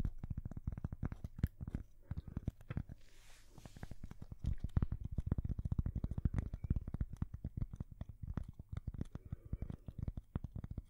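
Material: Cork.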